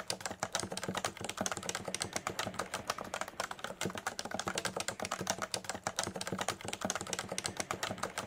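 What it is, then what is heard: Plastic keyboard being typed on. Fingertips of both hands type rapidly and steadily on a Leopold FC980C full-size electrostatic capacitive keyboard with a solid body and beige and grey plastic keycaps, resting on a desk mat. The result is a continuous stream of short, bright plastic clacks with very quick decay and little low-end thump.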